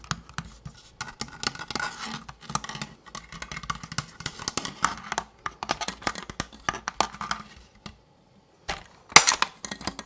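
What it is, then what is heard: Plastic toy blaster. A large, hollow orange-and-blue plastic Nerf toy blaster, held in both hands close to the mic, is tapped and scratched with fingertips and nails. The result is a steady run of dry, bright plastic clicks and scrapes with almost no ring. After a brief near-silent pause around the eight-second mark, a louder, denser burst of scratching follows.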